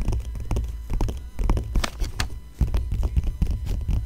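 Long nails scratch and trace over a Cartier bracelet ad spread in an open magazine with thin, glossy coated pages lying flat. A quick series of short, dry scratching strokes is heard over a steady low rumble, with brief bright flicks as the nails drag across the paper.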